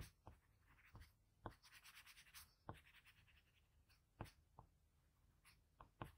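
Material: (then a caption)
Paper. A hand holding a blue patterned graphite pencil scratches repeated shading strokes around an eye on a flat sheet of drawing paper. Quiet, dry scratching comes in short sweeps with sharp, brief taps where each stroke begins, over a soft low rumble. Some strokes leave a brighter, hissy grain.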